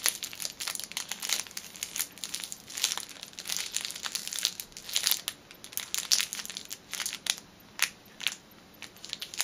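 A small orange rolled fitness band in a clear cellophane wrapper is held in one hand and squeezed with teal-painted fingernailed fingers, crinkling the plastic film. Rapid, irregular bursts of sharp, bright crackling come in quick clusters with almost no low end, thinning out into sparser crinkles with short quiet gaps toward the end.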